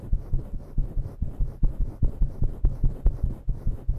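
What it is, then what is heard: Faux fur microphone windscreen being scratched. Long nails rapidly scratch a grey and black synthetic-fur microphone windscreen in about eighteen quick, slightly uneven strokes. Each stroke lands as a soft, muffled, low thump-like rustle, with almost all of the sound deep in the bass and nothing bright on top.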